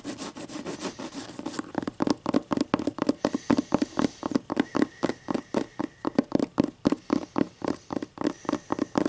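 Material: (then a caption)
Paper. Long green acrylic nails scratch along the stacked paper page edges of a closed hardcover book held upright. A brief continuous papery rasp gives way to a quick, steady run of short, dry scratching strokes with a midrange rustle.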